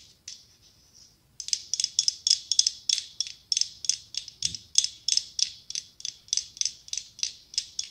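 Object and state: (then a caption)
Mosaic glass pumpkin tapped with nails. Long pink acrylic nails tap and scratch a hollow decorative pumpkin covered in mirrored glass tiles. A few faint scrapes come first, then a quick, slightly uneven run of sharp, bright clicks that ring very briefly. The sound is high and thin, with almost no low end.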